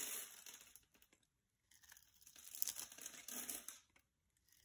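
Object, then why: Solid bar soap scraped with a blade. A solid coral-orange bar of soap held in the hand has its edge scraped and sliced off with a utility-knife blade, making bright, crunchy, crackling scrapes. The crunching comes in bursts separated by short silences as shavings peel away.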